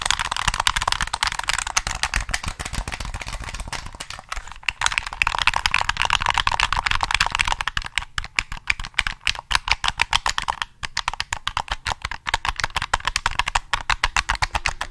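Fingertips rapidly tap and click the triggers of a black, hollow plastic PS3 game controller held with its back facing outward. The result is a dense, continuous run of short, dry, bright plastic clicks and taps with almost no ring. The taps form a steady rattle that thins into more spaced, sharper clicks in the second half.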